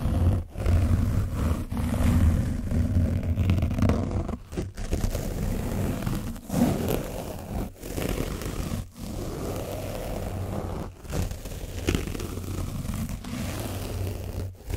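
A foam brush on a wooden stick is scratched over an orange foam microphone windscreen coated with dried paint. The result is a dense, low, rumbling scrape with a deep roar and almost no bright content, broken by brief dips between strokes.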